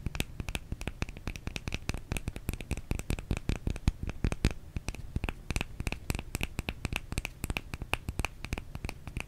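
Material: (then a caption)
Soap. A small, solid white oval bar of soap is held in one hand and scratched and tapped in front of a microphone with the long painted nails of the other hand. The result is a rapid, steady stream of short, dry clicks and scratches, each with a soft low thump and a bright, crisp edge that dies away almost instantly.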